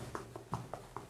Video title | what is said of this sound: Элитные проблемы в ЖК Болконский RBI квартиры у Троицкого собора Санкт-Петербурга | вот это звук бетона, а здесь такое ощущение, что пустота.